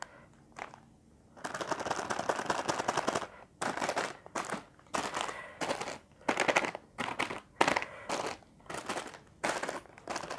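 Fingertips and nails of both hands tap and scratch a single full, sealed red plastic-film packet of Indomie Tengkleng instant noodles containing a dry noodle brick. The sound is a run of bright, crinkly rustling and rapid tapping bursts, a long stretch first and then many shorter bursts separated by brief quiet gaps.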